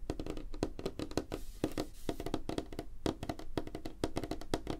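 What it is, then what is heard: Light wooden tabletop. Fingernails of both hands tap quickly on a flat, solid, light wooden tabletop, making a rapid, uneven stream of short, dry clicks. Each tap dies away almost at once, leaving a faint hollow tone around 300 Hz.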